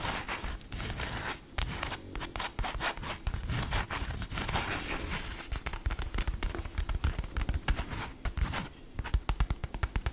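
A hand-length, soft, stuffed cream fabric dog-toy bone printed with "TITAN" is scratched and tapped with long nails. Continuous dry, scratchy rustling mixes with dull, muffled taps that carry mostly low energy and die away almost instantly. The taps grow sharper and more distinct toward the end.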